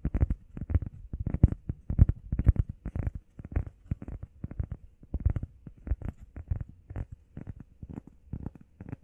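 Long painted nails and fingertips rapidly tap and scratch a flat, solid, hand-sized grey textured EVA foam workout pad shaped like a heart. The taps are dull, soft and muffled, mostly low thuds with almost no ring, arriving in a fast, uneven patter with light scratchy texture between them.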